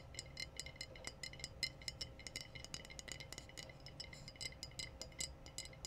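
Glass bottles are tapped in quick, irregular succession, producing bright, high-pitched clinks that die away almost instantly. A low, steady hum runs underneath the taps throughout.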